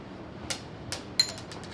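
Homemade Mentos-style mint candies, dried overnight under a fan, are tapped to show they have become hard. Several short, bright clicks sound, with the sharpest one near the end. The candies are hard.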